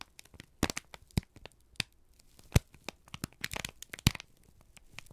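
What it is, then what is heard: Crumpled kraft paper sheet. A single thin, crumpled sheet of brown kraft paper, held in both hands, is squeezed and crinkled with the fingertips and thumbs. The result is a busy run of sharp, dry crackles and crinkles at irregular intervals. A few louder snaps stand out, each with a brief low thump under a bright, papery rustle.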